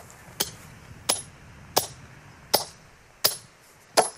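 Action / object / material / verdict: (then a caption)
strike / large natural stone slab struck with a hammer / stone / hollow. A large natural stone slab of about 2 square meters is struck six times, at slightly uneven intervals, to split it from the rock bed. Each blow gives a sharp, bright, hollow crack that dies away quickly. The slab separates from the bed along a crack line and is lifted open like a book.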